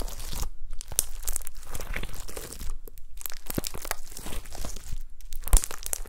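Long pastel-nailed fingertips press and squish a folded mound of gold glitter slime with star confetti. The result is a steady run of wet crinkling, crunching and tearing sounds with quick sticky pops and a heavy low-end thump beneath.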